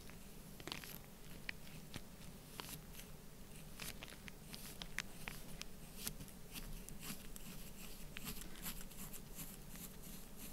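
A black pointed stylus scratches and pokes into an open mound of loose orange kinetic sand resting on plastic while the other hand holds the sand. Short, crisp, bright crunches and scratchy ticks come through irregularly over a low, steady background hum.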